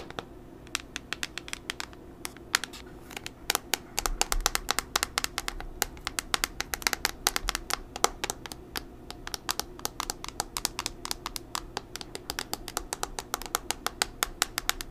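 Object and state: Plastic tablet back tapped with nails.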